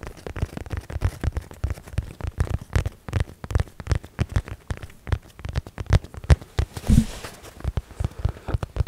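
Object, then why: Padded nylon fabric zip case. A medium padded blue nylon zip case, held up, is scratched and tapped with fingertips. The result is a rapid, uneven stream of soft, dull, low thumps with brief fabric scratching between them. Each tap dies away almost instantly.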